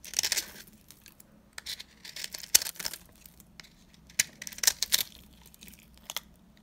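A blade cuts into a solid, embossed, dry green soap bar, crumbling its surface. The sound is made up of bright, dry crunching and scraping bursts, some close together and some sparse, with very little low end and almost no ring after each cut.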